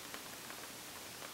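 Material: Nothing is struck.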